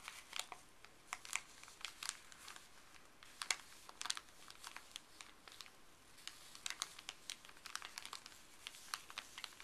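Gloved fingertips crinkle and crumple a small, thin, crumpled white paper wrapper with blue print close up. It makes a quiet, steady run of quick, bright crackles and rustles with almost no low end, each snap dying away almost instantly.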